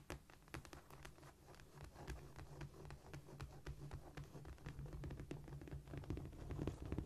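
Fingernails scratch, scurry and tap across a cork floor in quick, uneven bursts, with sharp broadband clicks over a low rumble. The sound is close and dry, and it grows slightly louder toward the end.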